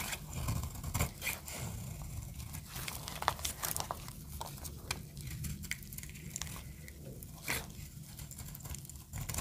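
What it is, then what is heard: Dry soap bar being scraped. A small metal blade shaves and scrapes brittle flakes from the edge of a solid pink marbled bar of dry soap held in the hand, dropping them onto a pile of pink shavings. The sound is a steady, dry, crunchy scraping and crinkling with quick sharp crackles and a low, soft rumble beneath. Each cut dies away at once with no ring.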